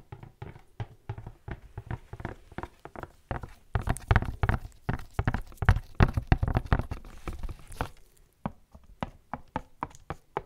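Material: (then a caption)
Cardboard. A tall, hollow black-and-white printed cardboard box held close to the microphone is knocked and tapped with gloved fingertips. The taps are dull, low, hollow thuds with almost no ring, coming in quick, irregular bursts that grow denser and louder midway. After a brief pause near the end, a few sparser taps follow.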